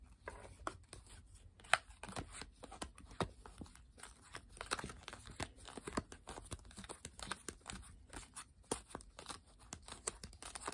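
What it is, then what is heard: Paper playing card deck being shuffled. A full deck of coated paper playing cards, held in both hands with long pink nails, is split, riffled and handled over a wooden table. Quick, crisp flutters and papery snaps run on in dense bursts, with a few sharper clicks standing out against a soft, quiet background.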